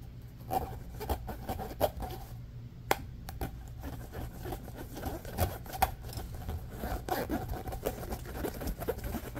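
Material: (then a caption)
Plastic. Fingertips and nails scratch and rub quickly along the ridges of a small, hollow, orange corrugated plastic pop tube toy held on a fleece blanket. The result is a steady, fast patter of dry scraping and rubbing over a soft low rumble, with brief sharp ticks and a faint ridged tone around 800 Hz.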